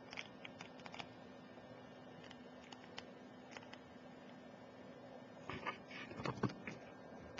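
Long, pointed, glittery nails tap rapidly on a full glass Ajmal Shadow perfume bottle and its metal collar as it lies on its side on a laptop keyboard. Soft, quick, irregular clicks sound over a faint steady hum, growing into a louder cluster of taps near the end.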